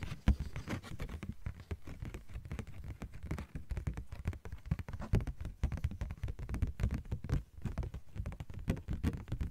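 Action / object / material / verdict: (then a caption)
tap / thin plastic sheet / plastic / none. A thin, card-sized, yellow-green translucent plastic sheet is tapped and scratched with long nails. Quick, dry, patter-like taps and scrapes come in a steady, dense stream. Each tap is short and soft, with a dull, low-heavy tone and little brightness.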